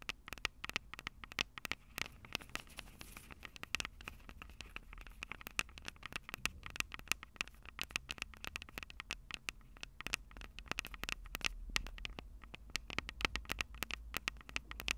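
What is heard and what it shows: Long purple nails tap and scratch the small metal X/Y microphone capsules on a plastic handheld Tascam DR-05 recorder. The result is a dense, rapid stream of sharp, bright clicks with a ringing tone near 2.6 kHz, mixed with faint scratchy friction over a soft low rumble. Each click cuts off almost instantly.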